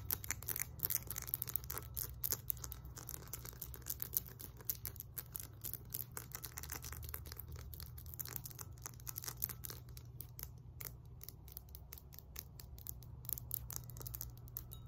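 Long nails tap and scratch the embossed face and rough body of a solid 20 lb cast iron kettlebell. Quick, dense, bright clicks and scrapes come in a steady stream, each dying away almost at once, over a constant low hum.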